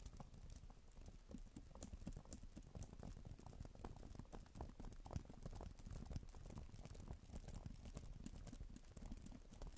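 A black tablet type-cover keyboard with plastic keys is typed on with fingertips and long nails, producing a dense, steady stream of quick, soft clicks and taps. The sound is heavy in the low end, with short bright ticks on top, and an added echo smears the keystrokes together.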